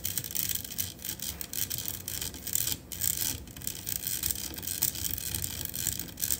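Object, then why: Metal mesh microphone grille. Long acrylic nails scratch and tap the hollow black metal mesh grille on top of a USB studio microphone. The result is a dense stream of bright, hissy scratching with quick, dry taps that die away almost at once, mostly high in tone with a faint low rumble underneath.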